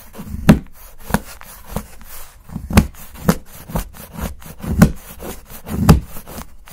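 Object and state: Milk chocolate bar being shaved with a knife.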